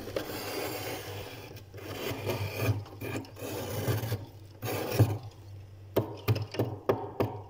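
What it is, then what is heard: Thick frost layer in a freezer being scraped. A hand scrapes and gouges a thick, solid, crusty layer of white frost ice built up on the inner wall of a freezer with a metal spoon, leaving grooves. Long, gritty rasping strokes run through the first five seconds, then give way to shorter, sharper gouging scrapes separated by brief pauses, all over a steady low hum.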